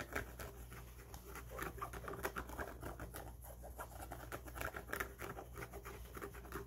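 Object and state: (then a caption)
Trucker cap brim, scratched and tapped. Fingertips scratch and tap the stiff, fabric-covered brim of an empty grey trucker cap with a black mesh back. The result is a quiet, dense run of soft scratches and light taps over a steady low hum.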